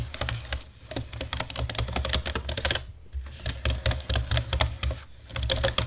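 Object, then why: Plastic computer keyboard. Fingertips and nails type on a black plastic computer keyboard as the hands move across the keys, making rapid, bright, sharp clicks and clacks. The typing comes in bursts with short pauses, over a steady low hum.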